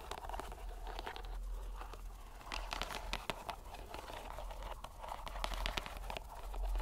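A fist-sized, soft green rubber squishy stress ball in a white string net is squeezed and kneaded by fingers and palm. The result is a quiet, continuous run of crinkly, crunchy squelches with sharp clicks scattered through it, over a steady low hum.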